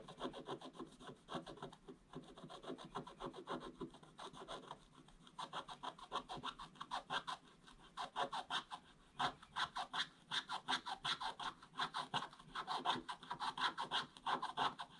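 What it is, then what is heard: Scratch-art paper board. A wooden stick held vertically scratches a flat, solid, black-coated scratch-art page in quick back-and-forth strokes. Dry, raspy scraping bursts come in uneven rhythmic runs, with a brief lull around four to five seconds, before growing denser and louder with a bright gritty edge.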